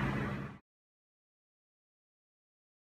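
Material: Nothing is struck.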